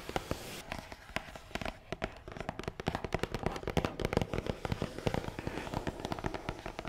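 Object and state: Hollow cardboard box.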